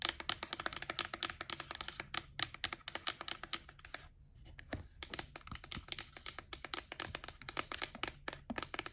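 A white printed cardboard gift box, held in the hand, is tapped and scratched with long nails. Rapid, crisp, dry clicks and scrapes come in quick bursts with a bright, high tone and almost no ring, easing briefly just after the midpoint before picking up again.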